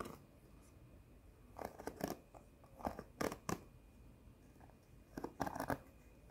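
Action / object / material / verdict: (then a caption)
scrape / cardboard sheet with plastic rhinestone stickers / cardboard, plastic / none. A flat cardboard sheet of plastic rhinestone face stickers, held up, is tapped and scratched with long nails. Short, crisp clicks and scratchy taps come in quick clusters, separated by quiet pauses with a faint steady hum beneath.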